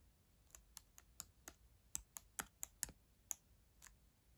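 Long acrylic nails slowly press and click the plastic keys of a black ThinkPad laptop keyboard, a solid device. Twelve separate crisp, bright clicks come at an uneven, unhurried pace, each dying away almost instantly over a faint low background hiss.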